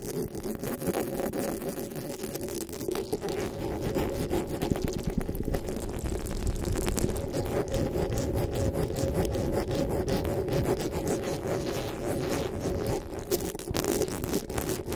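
Long pink nails rapidly tap and scratch the metal mesh head of a black desktop microphone. The result is a dense, steady stream of scraping and rubbing with quick tapping, heavy in the low and middle range, and it continues without a break for the whole clip.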